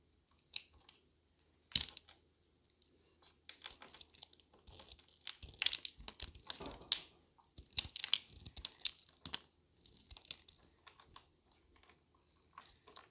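A thin, dried blue soap slab held in the hand is sliced into thin strips with a metal utility knife blade, dropping onto a heap of soap shavings below. The cuts make dry, bright, crisp crackling and scraping bursts with almost no low end, coming in quick irregular clusters across the clip.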